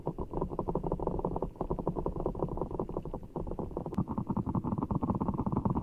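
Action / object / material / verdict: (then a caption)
scrape / large rubber-skinned ball filled with water gel beads / water gel / none. Fingertips squeeze and rub a giant orbeez ball, a large soft ball full of blue water gel beads in a clear rubber skin, held over the mic. A dense, continuous stream of soft, low squishy squelches and gurgles runs throughout, dipping briefly just past the midpoint before resuming. A faint, thin high tick cuts through near the four-second mark.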